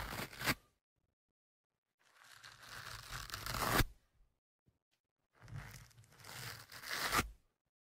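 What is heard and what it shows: A thin metal pick, held in one hand, scratches and pokes the surface of a soft, porous black foam windscreen on the left microphone. Three bursts of scratchy, tearing rustle are heard: a short one at the start, then two longer ones that build up and end in a sharper peak. Each burst has a low rumble under bright hiss, with brief silences between.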